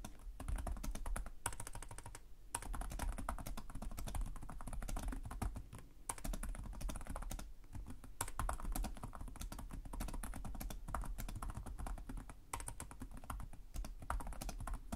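Both hands type rapidly with short-nailed fingertips on the plastic chiclet keys of a black laptop resting on a desk. The result is a dense, steady stream of quick, dry key taps with soft low thuds and very short decay, pausing briefly a few times.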